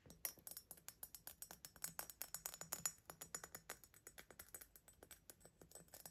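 Fingertips and nails tap the body and narrow neck of a medium-sized, hollow, empty green glass vase with a diamond-patterned body, held in the hands. About 35 quick, light taps make bright, clinking ticks with a faint high ring. Each tap dies away almost instantly, with very little low end.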